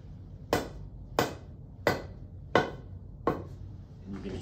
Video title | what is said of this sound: Building a HALF SET of Irons | hear it as it settles so that's as far as we have to go now